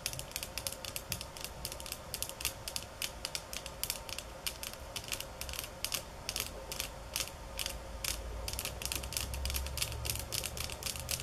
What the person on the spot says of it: Tapping on Bamboo sticks ~ Golpetear Palos de Bamboo 9:05 - 14:11